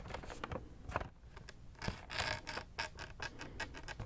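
Fingertips and nails tap and scratch the front and sides of a hollow, pink printed cardboard macaron box held in both hands. Quick, dry taps come in clusters with short scratchy brushes between them. The bursts are bright and papery over a soft low thud, with almost no ring.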